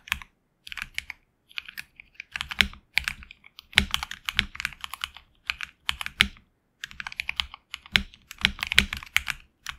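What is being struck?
Mechanical keyboard with plastic keycaps.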